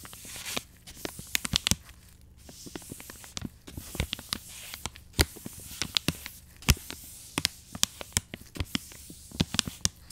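A black-gloved hand brushes the side of a soft plastic wet wipes pouch with short strokes of an angled paintbrush. Each stroke makes a quick, crisp, bright scratch with almost no ring, in an uneven stream of strokes over a faint, steady low hum.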